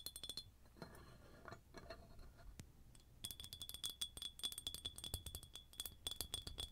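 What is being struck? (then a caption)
Ribbed glass jar with metal lid. Long nails tap and click across the ridges of an empty, hollow ribbed red glass jar with a metal lid. Sharp, bright clicks come in quick, uneven bursts, softer and sparser at first, then denser and louder. A thin glassy ring near 3.4 kHz lingers under the taps.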